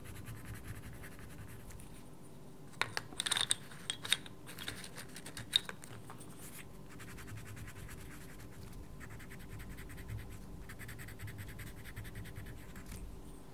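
A wooden coloured pencil, held by a hand with red-painted nails, scratches across a paper page of a small paperback mandala colouring book resting on a dark table. A steady, soft, bright scratching runs throughout, with a brief cluster of sharper, louder strokes near the start.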